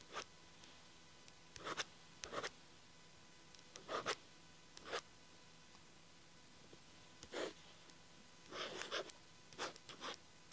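A blue ballpoint pen tip scratches across the lined page of an open paper diary lying flat, while fingertips hold the page edge. Short, bright, scratchy strokes come in irregular bursts, separated by quiet pauses over a faint steady background hum.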